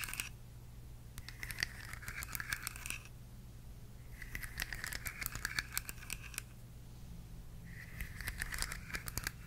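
Long nails tap and scratch the ridged, hollow segments of a rainbow plastic articulated slug fidget toy with a blue head, held in one hand. Three bursts of quick, dry clicks and raspy scraping come with a bright crackle and a midrange rasp, separated by short pauses. A steady low hum runs underneath throughout.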